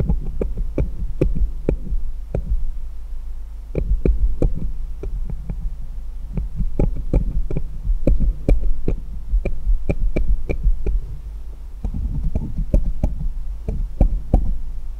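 Fingers hold one small solid steel jeweller's screwdriver and tap and rub it against a pile of others. The result is a dense run of quick, dry metallic clicks with bright, short ticks over a steady low hum.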